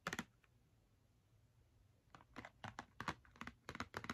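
Long red nails tap rapidly on the front face of a small, hollow Crayola cardboard box of 10 markers, filled with markers and held in one hand. A quick burst of dry, clicky taps centred in the mids around 1.1 kHz opens the clip, followed by nearly two seconds of quiet. A steady run of short, crisp taps with almost no ring then follows.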